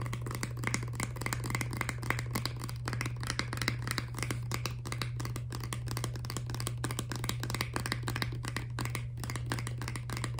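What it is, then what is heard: Plastic toothpaste tube. A filled, laminated plastic toothpaste tube is held up and tapped rapidly with long nails. The result is a continuous stream of quick, light, dry clicks with a brightish tone around 2 kHz, over a steady low hum.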